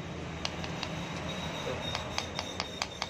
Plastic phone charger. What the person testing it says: kalau ini yang baru yang ori bunyinya beda